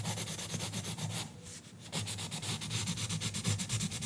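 A green colored pencil rubs and scratches quickly back and forth across the page of an open paper coloring book lying flat on a counter, while a bundle of pencils is held still resting on the book. The strokes come as a steady, bright, raspy scratching at about four per second over a low rumble, with a brief quieter pause just before the two-second mark before the coloring resumes.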